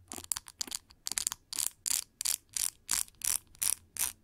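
Long nails strum and scratch the metal pin bristles of a pink translucent plastic paddle brush with a white cushion. The result is a rapid series of bright, crisp, raspy bursts with almost no low end: quick, uneven flicks at first, then steadier, separate strokes.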